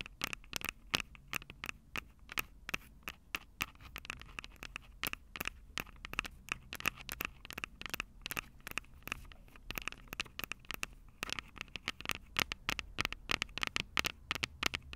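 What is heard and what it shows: Long purple nails on both hands tap and scratch the small metal X/Y microphone capsules on top of a plastic Tascam DR-05 recorder, the same mic doing the recording. A rapid, uneven stream of sharp, dry clicks and scratchy patters rings a bright metallic tone around 2.8 kHz, each hit dying away at once over a faint low rumble.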